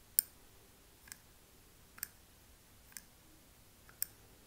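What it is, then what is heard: Wax-filled glass candle jar tapped. A thin metal pick taps and scratches the glass rim of a small wax-filled candle jar with a paper label on the front. Five short, bright clicks ring out at uneven intervals over a quiet background, each stopping almost instantly.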